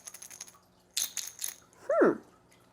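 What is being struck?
Glass jar containing chocolate chips.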